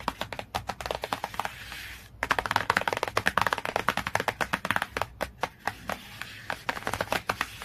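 Long fingernails tap quickly on the glossy cover of a cardboard hardcover book, making a fast run of dry, crisp clicks with almost no ring. The tapping softens briefly around the two-second mark, then returns louder and continues in quick bursts to the end.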